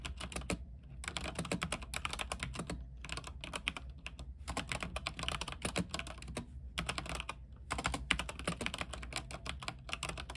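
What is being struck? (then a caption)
Mechanical keyboard with plastic keycaps on a metal frame. Both hands type with their fingertips on an RGB mechanical keyboard with white plastic keycaps on an aluminium frame. Bursts of rapid, bright, clicky keystrokes, each ringing only briefly, are broken by short pauses over a steady low hum.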